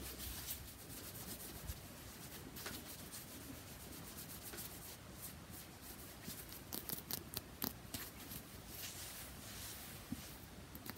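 Fingernails scratch and rub the curved surface of a palm-sized, solid, spherical pressed-powder bath bomb held in one hand. A quiet, steady, dry scratching hiss runs throughout, with sharper bright ticks clustering in the second half.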